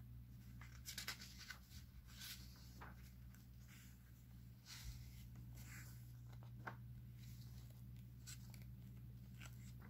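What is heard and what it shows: Fingertips rub and slide across the pages of a thin, open newsprint-paper DC comic book lying on a stack of comics on a wooden table, then turn them. The paper rustles and crackles in soft, bright bursts over a steady low hum. The overall level stays quiet.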